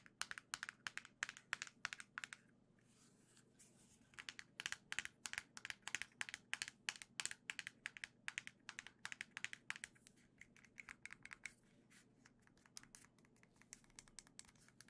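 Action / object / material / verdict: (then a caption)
tap / small plastic game controller / plastic / none. A single small gold plastic Joy-Con controller is tapped with long nails on its back and sides. The result is a rapid, irregular run of sharp, bright clicks with very little ring, over a faint steady low hum.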